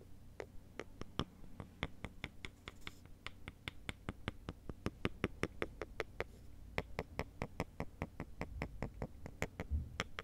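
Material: Wood.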